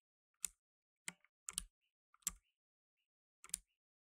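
Fingertips in blue nitrile gloves type on a black tenkeyless mechanical keyboard with plastic keycaps, producing sharp, bright clacks at an irregular, unhurried pace. Each keystroke snaps off almost instantly, with little low end and near silence between bursts.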